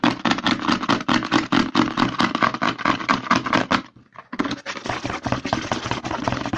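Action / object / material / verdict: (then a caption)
tap / plastic lotion bottle / plastic / none. Fingertips and short nails rapidly tap and scratch the back label of a white plastic CeraVe lotion bottle held upside down, producing dense, hollow plastic clicks and papery scraping. The flurry stops briefly for about half a second near the four-second mark, then resumes at the same fast pace.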